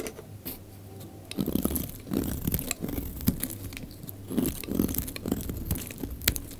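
A utility knife blade shaves slices off the surface of a solid, rectangular, pale green bar of dry soap with embossed lettering, held in the hand. Each pass makes a dry, crunchy scrape with crisp crackling and a low, muffled body, coming in uneven bursts with short gaps between.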